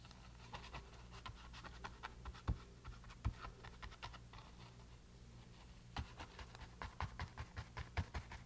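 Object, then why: Painted canvas board under a paintbrush. A paintbrush dabs and brushes paint across a small, thin, solid rectangular canvas board painted green, resting on a table. Soft, irregular bristly scratches and taps come in uneven bursts, with a few sharper dabs, over a steady low hum.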